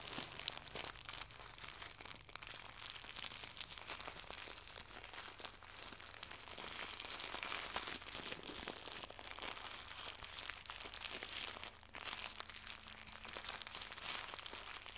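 Fingertips crumple and crinkle a small, white, translucent plastic pack of packaging film. A steady stream of bright, crackling crinkles with dense, sharp snaps continues for the whole clip at a soft level.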